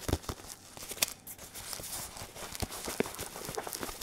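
Fingertips in a latex glove tap a red and white padded synthetic leather boxing focus mitt held in one hand. The result is a quick, uneven series of soft, dry taps with a bright crinkly edge, and each tap stops almost at once with no ring.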